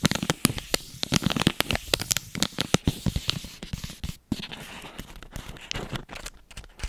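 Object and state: Plastic-wrapped snack bar.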